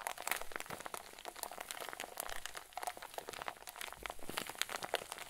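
A hand-sized clear plastic zip bag, stuffed full with white fluffy filling, is cupped in both hands and squeezed with the fingers and thumbs. This produces a steady stream of soft, dense crinkling and crackling, full of quick, sharp bright ticks centred around 3.5 kHz, with little low end. The crackles die away almost instantly.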